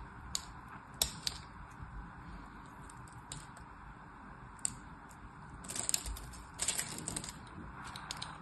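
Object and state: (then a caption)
Bar of soap being cut. A solid orange and white striped bar of soap held in the hand is scored and cut with a blade, and chips fall away from its surface. Sharp, bright scraping clicks and crisp snaps stand out over a steady low hiss. The cuts come in scattered single ticks early on and then in denser crackling bursts toward the end.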